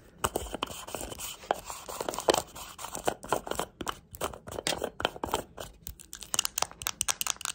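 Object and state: Rhinestone-covered plastic compact.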